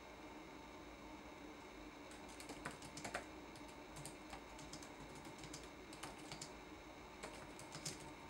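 Fingertips press the plastic keycaps of a red-backlit laptop keyboard, typing in a quiet, irregular run of light taps. Each tap is a short, bright click that stands out against a steady low background noise, with a few slightly louder strokes along the way.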